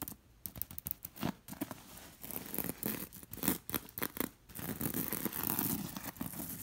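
Long nails and fingers scratch and rub across the bead rows of a bead-embroidered linen pillow. The result is a quick run of dry, crisp scratches and scrapes with a faint rattle of beads, broken by short rubbing passages.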